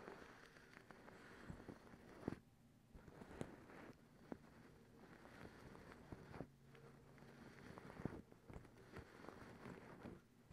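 A folded, soft, bunched white fluffy cotton terry cloth towel is held up and scratched with long acrylic nails using both hands. It gives a quiet, dense, scratchy rustle in bursts with brief lulls, punctuated by a few sharp little clicks from the nails.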